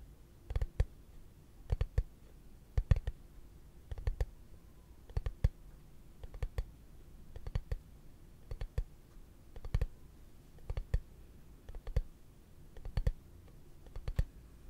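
A hollow, translucent frosted plastic case is held in the hands and tapped with fingertips and short nails. Short, dry clicks come in quick clusters of two to four taps about once a second over a steady low hum.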